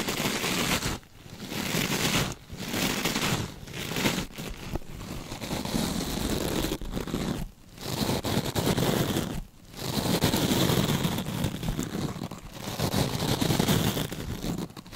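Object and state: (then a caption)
Mesh scrub sponge being scratched. Long nails on gloved hands scratch and squeeze a rectangular, glittery scrub sponge with a beaded mesh surface, bending it as they work, with no mic contact visible. The result is a dense, continuous crinkling and scratching texture with a bright, hissy top, broken by a few short pauses before the rustling resumes.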